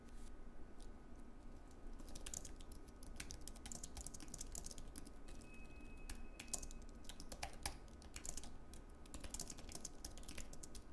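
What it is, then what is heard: Aluminium and plastic wireless keyboard, typing. Fingertips of both hands type steadily on a slim white Apple Magic Keyboard, a wireless keyboard with plastic keycaps on an aluminium base, resting on a wooden desk. Quick, light, bright key clicks patter in an uneven rhythm throughout, over a constant low hum and a faint steady tone.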